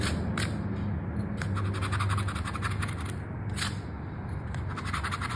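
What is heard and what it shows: A gold-coloured metal coin held in the fingers scrapes repeatedly across the latex scratch-off layer of a small, flat, thin "Sorte 7" lottery scratch card made of coated paper or card, which lies on a dark mat. Short, bright rasping strokes follow one another steadily over a continuous low rumble.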